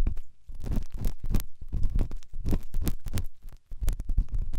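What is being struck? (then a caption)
Silicone dummy ear of a binaural microphone. A pen tip scratches and rubs inside the ear canal of the right white silicone dummy ear on a binaural microphone. The sound is a close, muffled series of deep rumbling scrapes and soft thumps, with energy almost entirely in the low range and brief bright ticks. Short pauses break up the continuous rubbing.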